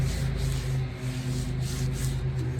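Something rubs or scrapes across the unpolished, spotted stainless/chrome exhaust tip of a 2005 Ford F150, making a continuous rough, gritty rubbing sound over a steady low hum. The scratchy texture reveals the tip's rough, unpolished surface.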